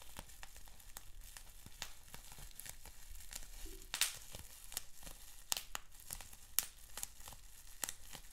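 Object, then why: Plastic bubble wrap sheet. Fingertips and nails pinch and scratch a sheet of clear plastic bubble wrap with small bubbles. Quiet crinkling and scratching runs throughout, broken by many sharp, bright snaps and pops, with a few louder cracks standing out over a low background hum.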